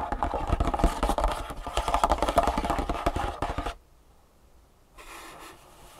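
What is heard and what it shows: Long fingernails rapidly tap and scratch a long, hollow, printed cardboard shoe insole box lying flat on a wooden table. Dense, fast, dry taps with low thuds and a papery scrape fill the first few seconds. The sound then drops to near silence before a faint, soft scratching resumes.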